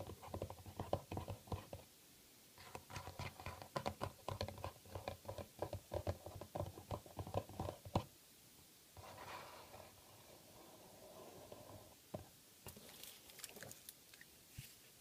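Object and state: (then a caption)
Plastic glue bottle tapped and scratched. Fingertips and nails tap and scratch a white plastic school glue bottle with a paper label, hollow and partly full, held on a foil-covered table. Quick, dense, hollow taps with a low body tone fill the first eight seconds. After a short pause comes a softer, steady scratching rub, then a few scattered sharper taps with bright clicky edges.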